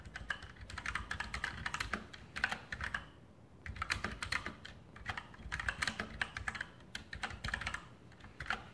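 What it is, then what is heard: Mechanical keyboard with plastic keycaps. Fingertips type steadily on a full-size RGB Sharpshooter X2000 mechanical keyboard with Outemu brown switches and plastic keycaps on a metal top plate. Quick, dry clacks come in bursts with brief pauses in between, each key press bright and short with almost no ring.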